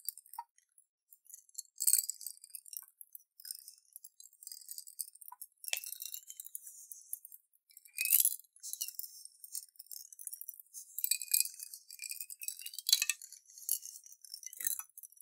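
A clear glass jar with a metal lid, partly filled with water and colorful beads, is tilted and shaken in both hands. The water sloshes while the beads clink against the glass in dense, bright, high-pitched ticks and rattles with almost no low end. Louder bursts of clinking come in irregular swells over a quiet, continuous patter.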